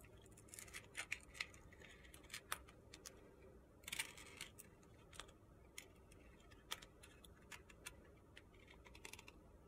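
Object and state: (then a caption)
Soap bar being carved. A metal box-cutter blade slices and shaves strips off a solid white soap bar with purple glitter edges. Quiet, crisp, bright scraping clicks and short crunchy ticks come at irregular intervals, with brief denser bursts of grainy shaving noise.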